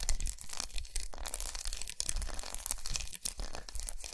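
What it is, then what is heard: Milk chocolate bar. Long nails rapidly tap and scratch across a large, unwrapped, segmented solid milk chocolate bar with raised squares resting on a towel. The result is a dense run of dry, crackly scrapes and soft clicks with bright hiss on top and a dull low thump beneath, the strokes blurring together with only brief pauses.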